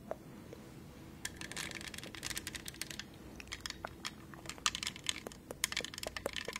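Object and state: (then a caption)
Plastic studded tumbler. Long nails tap and click across the textured surface of a tall, hollow green plastic tumbler covered in studs, held beside the mic. Quick, bright clicks and scratchy rasps come in uneven bursts over a faint, steady low background hum.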